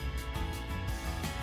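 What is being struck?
Nothing is struck.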